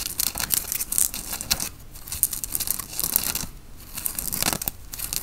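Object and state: Cotton t-shirt scratched with fingernails.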